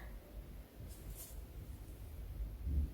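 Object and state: Nothing is struck.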